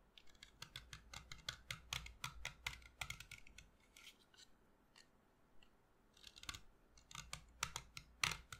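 A solid white chalk stick, held upright in the hand, is shaved with a utility knife blade, and the powder falls onto the table. Quick, dry, bright scraping strokes come in fast bursts with a brief quieter pause midway, each stroke short with almost no ring. A faint low rumble sits underneath at a quiet overall level.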